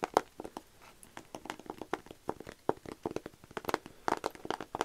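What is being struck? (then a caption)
Painted canvas board. Fingernails scratch and tap the painted face of a small rigid canvas panel painted with cherry blossoms, held first in one hand and then in both. The result is a rapid run of sharp, dry clicks and short scratches with almost no ring, sitting mostly in the midrange around 700 Hz.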